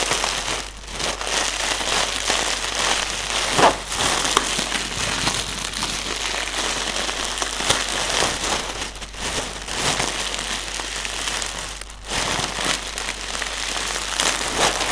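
A strip of clear, hollow, air-filled plastic air pillow packaging is held in both hands while fingertips squeeze and crinkle it. The result is a steady, dense, bright crinkling and crackling, with a few sharper snaps standing out and brief dips in between.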